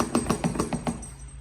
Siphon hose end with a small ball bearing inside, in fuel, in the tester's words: if you hear that ball bearing moving inside of there it's pumping gas in here